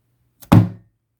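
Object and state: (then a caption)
Heavy solid boxed disc set. An unopened, heavy limited-edition two-disc Blu-ray box set of The Blair Witch Project is dropped on its other side onto a desk. A faint tap comes just before one loud, deep thump that fades quickly. The set sounds heavy and solid.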